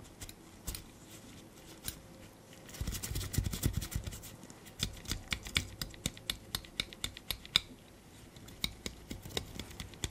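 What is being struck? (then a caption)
Small metal binder clip with wire handles. A small black metal binder clip with silver wire handles, a solid spring clip held in black nitrile-gloved fingers, has its handles pressed, flipped and clicked against the clip body. The result is rapid, irregular, sharp, bright clicks that die away instantly, with a denser scratchy cluster partway through over a soft low background.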